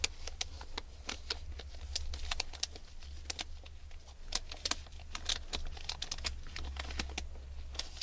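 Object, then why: Package wrapped in aluminium foil. Long red nails scratch, pick at and crinkle the surface of a hand-sized package wrapped in crinkled aluminium foil. Quick, sharp, bright ticks and crackles come in an irregular stream over a steady low hum.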